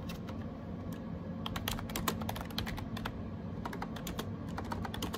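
Bare fingertips type on the round plastic keycaps of a gray plastic AJAZZ 308i wireless Bluetooth keyboard, up close. Quick, bright plastic clicks and taps come in rapid, uneven bursts and stop short, over a steady low background hum.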